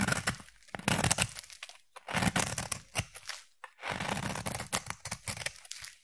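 A utility knife blade shaves and scrapes the surface of a solid cream rectangular bar of soap. The cutting comes in several crisp, crackly passes, dry and bright with a low soft thump beneath, separated by brief pauses.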